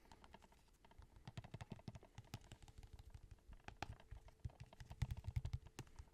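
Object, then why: Plastic DVD case. Fingertips tap quickly and irregularly on a plastic movie case for the film Ponyo, making a stream of soft, short clicks with a dull, low body and very little ring. The taps stay quiet and grow somewhat louder and firmer toward the end.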